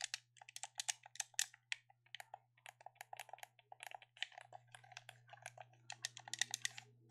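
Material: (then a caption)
Plastic. A hand-sized black plastic gamepad is held in both hands while fingertips click and tap its buttons and sticks, with one finger tapping the face. About 26 quick, dry, bright plastic clicks come in an uneven rhythm. A faint steady low hum runs underneath and grows slightly louder partway through.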